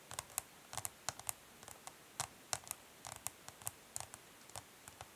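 Long nails tap along the side edge of a smoky clear plastic makeup palette case standing on cloth. There are 21 quick, quiet, bright clicks in uneven clusters, each dying away almost instantly.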